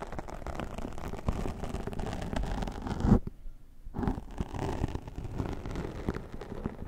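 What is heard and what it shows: A brown tortoiseshell plastic comb is drawn across the top of the black foam windscreen, a soft porous dome, on a Zoom H6 microphone, combing cat hair off the foam. This makes dense, muffled, low-heavy scratching and rustling that stops briefly in a near-silent pause midway, then resumes.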